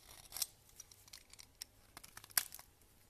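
A solid pale yellow bar of soap, held in the hand, is shaved with a red vegetable peeler, and the shavings pile up on a grey counter. A quick series of dry, crisp scraping strokes with bright, hissy edges is heard, the loudest stroke coming near the end. The strokes are short and cut off fast, leaving soft gaps between them.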